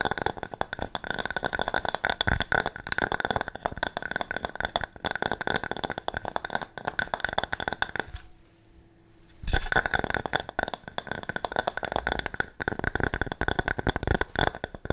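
A medium-sized round slice of solid wood with its bark edge is tapped quickly with long nails and fingertips, making a dense stream of crisp, dry clicks and taps with a bright, steady edge. The tapping stops briefly for about a second just past the halfway point, then resumes at the same fast pace until the end.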